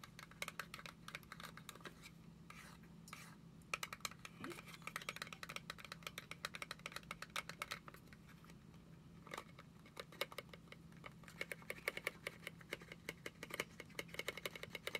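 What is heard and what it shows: A small, hollow, gold-printed cardboard product box is held in both hands and tapped and scratched with long acrylic nails. The result is a quiet, rapid stream of sharp, bright clicks and dry scratching, with pauses between bursts, over a faint steady low hum.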